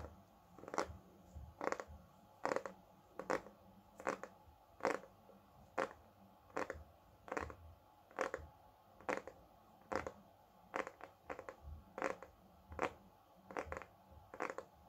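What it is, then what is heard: Hardcover book tapped. A solid, large hardcover cookbook, "Desserts divins," is held upright while its front cover is tapped with fingertips and nails. Quiet, dry, short taps with a midrange knock near 500 Hz and almost no ring arrive in bursts at an uneven pace, some clustered closely together, over a faint steady background hiss.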